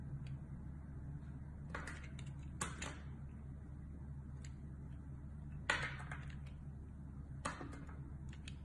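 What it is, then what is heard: Glycerin soap bar being shaved. A solid oval bar of blue translucent glycerin soap, held in the hand, has thin slices shaved off with a metal utility blade. Short, crisp scraping cuts with a bright edge rise over a steady low hum, with a few louder slices standing out. Each cut dies away quickly.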